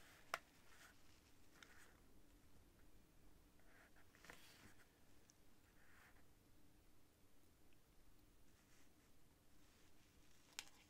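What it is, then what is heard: Quill pen scratching on paper. A white feather quill with a metal-nibbed tip, held in the fingers, scratches slow writing strokes across a thin cream paper sheet lying flat on a desk. Soft, papery scratches come and go over a steady low hum, with two sharp, bright ticks standing out near the start and the end.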